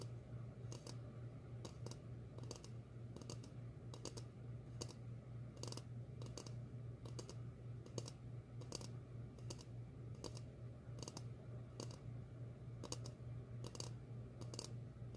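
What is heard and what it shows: A medium glossy red ceramic bowl with a ringed base, hollow and empty, is held upside down and tapped on its base and sides with long fingernails. The result is a series of sharp, bright clicking taps at an uneven pace, each dying away almost instantly. A steady low hum runs underneath throughout.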